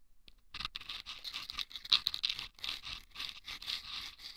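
Wooden toothpicks scratch the sandpaper inside two small hollow rolled sandpaper tubes set over microphone ears. The result is dry, bright, rasping scratches in irregular bursts, concentrated around 3.9 kHz, with almost no low end and no ring after each stroke.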